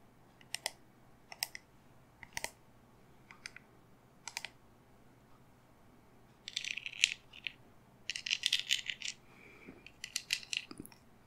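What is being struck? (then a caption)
Cast resin candle holder. Long dark-painted nails tap and click on the rim of the top cup of a tall black gothic candle holder with a sculpted raven, likely cast resin, held upright in one hand. Several sharp, bright, dry clicks come first with pauses between them, followed by dense clusters of rapid tapping that rattle with almost no ring.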